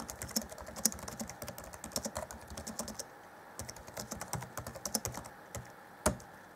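Fingertips of both hands type on the black plastic chiclet keyboard of a 2014 Acer Chromebook C20 laptop. Quick, light, bright clicks come in uneven bursts, with a short pause near the middle. The typing ends with one sharper tap.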